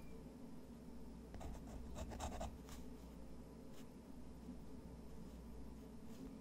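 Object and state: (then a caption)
Textured watercolor paper scratched by a pen nib. A fountain pen's metal nib scratches lines across a thick, textured white watercolor paper sheet resting on a wooden desk while drawing. Short bursts of dry, bright scratching stand out over a steady low hum, with the densest cluster of strokes early on and fainter ones trailing later.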